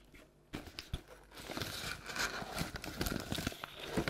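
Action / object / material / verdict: scrape / paperboard treat bucket / paperboard / none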